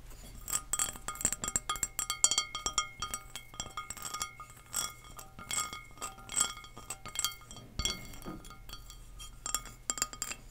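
Long nails tap rapidly and irregularly on an empty pink glazed ceramic serving dish shaped as three shallow flower-shaped bowls. Each tap is a bright, short clink with a quick high ring that dies away almost at once, over a faint steady low hum.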